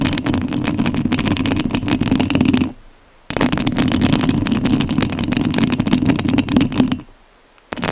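Long nails scratch the metal mesh grille of a rhinestone-covered studio microphone, producing dense, crackling scratches with a thick low-mid rumble and bright rasping edges. The scratching runs in two long bursts separated by a brief pause of near silence, then falls quiet again before starting up once more at the end.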